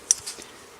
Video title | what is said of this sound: Trike Carburator Disasembly and Cleaning Suzuki ALT 125 | shake it see if you hear any rattling inside if there's rattling inside you mean means you got a hole in there and you need a new one